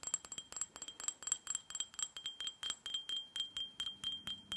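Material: Glass.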